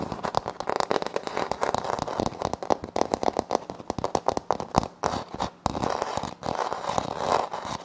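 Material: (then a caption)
Laminate. Fingernails scratch and tap a flat, solid wood-look laminate floor panel with a light wood-grain print. The sound is a dense run of quick, crisp clicks and dry scratching rasps, centred in the mid range with some bright edge. The taps are too closely packed to count.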